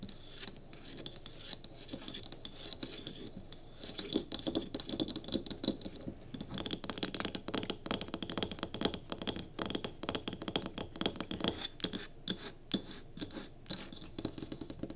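Long nails quickly tap and scratch the sides of a small solid pine cube candle holder with a tealight in it, and the block is briefly lifted. The clip is a dense run of short, dry clicks and raspy scrapes with a bright, hissy high end, growing busier and sharper in the second half.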